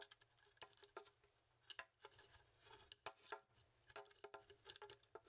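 A large, hollow, dry horned goat skull with long ridged horns is held in both hands while fingertips tap and scratch along the bone and horn. The result is a quiet, irregular patter of short, dry, bright clicks with a faint scratchy rustle between them and almost no ring.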